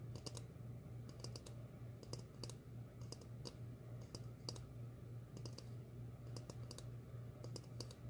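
A medium glossy red ceramic bowl, hollow and empty, is held upside down and tapped with long fingernails in irregular bursts of quick, bright clicks. Each tap is short with a brief ring, over a steady low hum.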